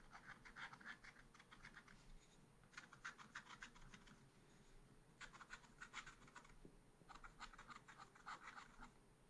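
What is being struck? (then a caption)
Black-coated scratch art paper card scratched with a wooden stylus. A wooden stylus scratches near the bottom edge of a small black-coated scratch art paper card. Quick, dry scratching strokes come in four bursts separated by short pauses, with a bright papery rasp over a soft low rumble.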